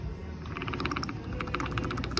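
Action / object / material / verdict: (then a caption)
shake / steel strut top nut / steel / loose. A loose steel top nut on the rear driver-side strut of a 2012 Mercedes GLK 350 is wiggled, giving a run of quick, light metallic clicks and rattles over a low background hum. The nut is looser than it should be, and once the strut was reassembled the rear noise was gone.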